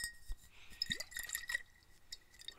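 A bottle of Crazy Water mineral water is sloshed, and the water can be heard moving inside it. Quick, bright clinks and short watery gurgles, including one rising bubbling sweep, sit over a faint steady high tone.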